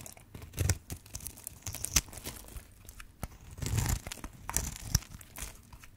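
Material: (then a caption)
Soap. A metal blade carves and scrapes cubes into the surface of a green and white striped solid bar of dry soap held in hand, and flakes crumble off. Dry, crisp cutting and crunching scrapes repeat in short bursts, with bright crackle over a low thud.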